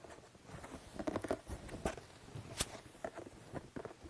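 Fingertips and nails tap and scratch the top of a printed, medium-size, hollow cardboard toy box lying in front of the mic. Soft, dry, papery taps and scratchy rustles come at an irregular pace, with a few sharper clicks standing out above a quiet, muffled background.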